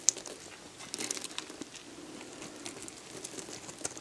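A metal box-cutter blade scrapes a solid, dried, hand-sized beige soap bar, and the flakes fall onto soap chips below. The result is a quiet, bright, dry crinkling and crackling texture with a few sharp high ticks along the way.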